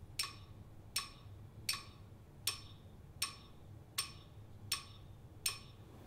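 A medium octagonal clear glass jar with a white plastic lid and a small amount of water inside is held in the hand and tapped on the glass with a thin wooden stick. Eight bright, high-pitched clinks ring briefly, spaced about three-quarters of a second apart over a faint low hum.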